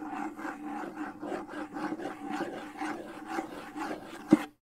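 Fingers rub and scratch the skin head and wooden shell of a hollow wooden bongo drum held close to the mic, making a steady run of rasping strokes over a low hollow hum. One sharper knock comes near the end before the sound cuts to silence.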